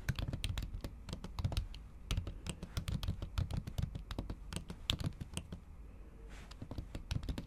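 Long acrylic nails type steadily on a MacBook keyboard under a pink silicone keyboard cover. The result is a quick run of soft, muffled, low-heavy taps, each with a short bright click on top that dies away almost instantly. Near the end there is a brief lull before the typing picks up again.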